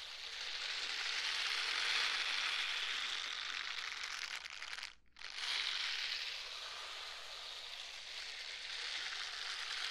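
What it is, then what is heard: Silicone scrubber gloves. A pair of pink silicone scrubber gloves worn on both hands is rubbed and squeezed together beside the microphone without touching it. This produces a steady, bright, crackling hiss like sizzling or light rain. It drops to near silence for a brief moment around the middle before the rubbing resumes.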